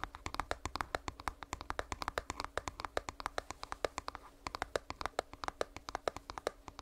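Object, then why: Small plastic earbuds charging case. A small hollow purple plastic earbuds charging case is held close and scratched and tapped with long nails. A rapid, fairly even stream of short, dry clicks with bright tops follows, with a faint steady hum underneath.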